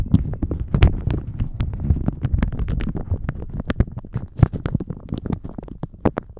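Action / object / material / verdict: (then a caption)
scrape / thin plastic shower cap / plastic / none. A thin plastic shower cap stretched over a microphone is crinkled, squeezed and stretched with the fingertips. It makes a dense run of close, dry crackles and sharp snaps over a muffled, low rumbling rustle.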